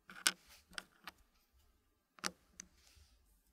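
Small solid wooden puzzle pieces in a green wooden tray are clicked and tapped into position with fingertips. Five short, bright wooden clicks sound at uneven intervals, each dying away almost instantly, with very little low end and a quiet overall level.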